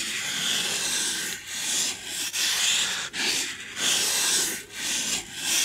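Long glossy nails rub across a white styrofoam packing insert with a rectangular recess, held close to the microphone. The result is a steady, bright, hissy scratching in long back-and-forth strokes, with brief dips in loudness between them and almost no low end.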